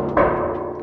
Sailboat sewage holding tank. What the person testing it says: it sounds you know pretty pretty hollow and got a nice resonance you know hollow sound to it